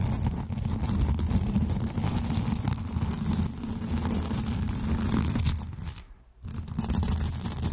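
Two matching white-and-blue hollow plastic velcro hair rollers are held close and rubbed together with the fingers. They give a steady, dense, scratchy crackling friction sound, mostly low and rumbly. Near the end it briefly drops off to near silence before the scratching resumes.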